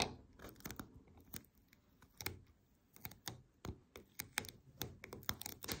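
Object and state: Paper lint roller tapped and scratched with nails.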